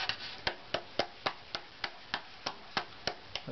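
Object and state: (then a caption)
Spruce violin top plate. An unvarnished, thin spruce violin top plate, held near the bench, is tapped twelve times with the fingertips of an open hand. Each tap gives a short, dry knock with a brief resonant tone around 570 Hz that dies away almost at once.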